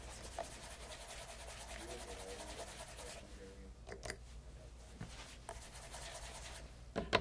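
A light brown leather loafer fitted with a brass-knobbed shoe tree rests on a leather apron while a cloth-wrapped fingertip rubs polish along the upper near the heel and side. A steady soft rubbing hiss carries on throughout, with a few brief louder taps near the end.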